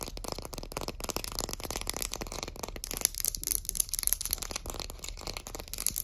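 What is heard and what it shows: Long acrylic nails tap and scratch along the solid varnished wooden back of a shoe polishing brush printed with text. The result is a dense run of quick, dry clicks and scraping strokes with bright, crisp highs and no ringing tail.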